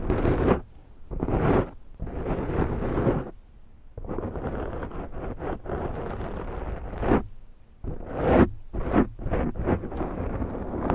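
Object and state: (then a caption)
Foam microphone windscreen being scratched. Long nails of both hands scratch a large round black foam windscreen on a Zoom microphone. The result is bursts of deep, rough rustling and scraping, heavy in the lows with brighter edges, separated by brief quieter gaps.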